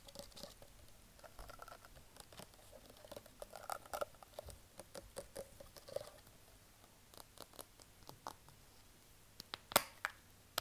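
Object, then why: Small plastic bottle. Fingertips and nails tap and scratch a small, hollow white plastic cosmetic bottle with a label, held upright in one hand. Many quiet, dry clicks and scratchy patters with a hollow mid-pitched tone and bright edges die away almost instantly. A sharper, louder tap stands out near the end.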